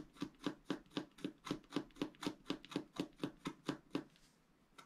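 A pointed wooden stylus scratches along the right edge of a thin black wax-coated scratch-art paper sheet lying flat and solid on a table. About sixteen quick, evenly paced scratching strokes each give a short, bright rasp over a low hum, then it falls quiet with one faint final scrape.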